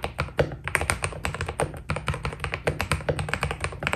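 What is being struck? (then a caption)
Mechanical keyboard with plastic PBT keycaps. A white Keydous NJ80 mechanical keyboard with PBT plastic keycaps is typed on steadily with the fingertips of both hands. A rapid, uneven stream of short, dry taps follows, each a deep thock with a bright click on top that dies away almost instantly.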